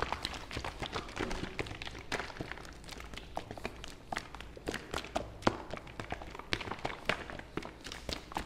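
A medium white-and-blue plastic fabric softener bottle, hollow with liquid inside, is held in the hand and tapped with the fingertips close to the mic. Rapid, dry, short taps and soft thuds follow one another continuously, with hollow plastic clicks and no ring after each hit.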